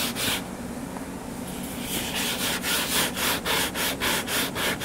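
Fingertips and nails scratch the cover of a closed, solid hardcover book lying flat on a table. A soft, continuous bright rasping settles into a steady rhythm of quick scratching strokes, about three or four per second, over a faint low hum.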